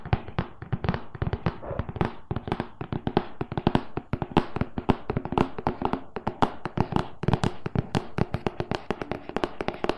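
A closed, printed cardboard loaf pan box of medium size, hollow inside, is tapped quickly on its front face with the fingernails of both hands. A steady, rapid stream of short, dry taps with a hollow, low body and crisp clicky tops continues for the whole clip, each tap dying away almost instantly.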